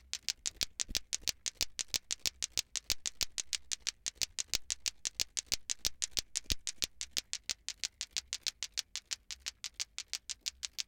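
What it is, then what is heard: Plastic ball clacker (lato-lato). A hand shakes a green glowing toy plastic ball clacker (lato-lato), making its two small solid plastic balls on cords clack against each other near the listener's head. About 66 sharp, bright clacks come at roughly three per second in a loosely steady rhythm, each dying away almost instantly.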